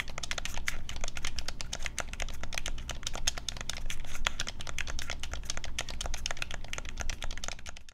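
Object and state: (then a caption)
Plastic game controller. Fingertips and thumbs rapidly tap and press the buttons of a black, hand-sized, hollow plastic Nintendo Switch Pro controller held in both hands over a wooden desk. The result is a dense, continuous stream of short, sharp plastic clicks with bright, crisp attacks and almost no ring, over a steady low hum.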